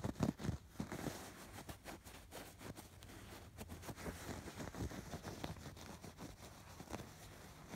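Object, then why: Embroidered fabric pillow. Fingertips and short nails scratch over the raised diamond and hexagon embroidery on a soft, stuffed fabric pillow. The result is a soft, dry, steady scratching rustle, mostly low and muffled, with short brushy strokes that die away almost at once.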